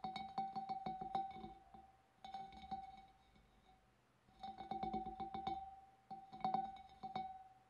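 Long dark nails tap and flick the wavy rim of a large, clear, empty glass fish bowl in four quick bursts separated by short pauses. Each strike gives a short glassy ping with a steady ringing tone near 780 Hz and faint bright overtones.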